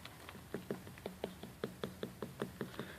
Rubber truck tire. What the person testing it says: you tap on it you can hear like a hollow spot that stretches a little bit farther